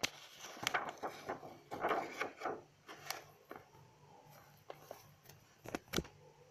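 A page of an open lined paper notebook is turned with a soft, papery rustle, then long acrylic nails rest on the paper and tap it. Crisp, dry clicks ring briefly over the quiet, irregular sound of the page shifting.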